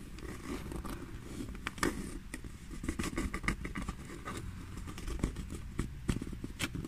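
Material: Leather.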